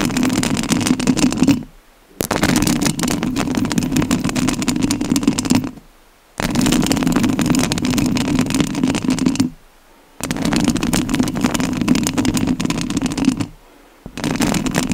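Long acrylic nails scratch and rub directly on the rounded metal mesh grille of a large studio microphone with a hollow head and a sparkly rhinestone-covered body. Four dense bursts of close, crackling scraping come through, each lasting a few seconds. The scraping carries a resonant low hum around 250 Hz under bright grit, and each burst is separated by a brief near-silent pause.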